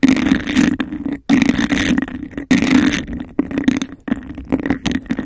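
Long acrylic nails tap and scratch fast across a hollow, empty, hand-sized cup of embossed textured glass held over the microphone. The result is dense, rapid, gritty scratching with a hollow, resonant mid-low tone, in loud bursts broken by brief silences.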